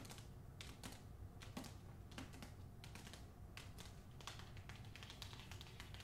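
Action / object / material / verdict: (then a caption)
tap / book (paper and cardboard cover) / paper / none. A book is tapped with the fingernails in a quick, irregular run of light, dry clicks. Each tap is bright and short, with almost no ring, over a quiet, steady low background rumble.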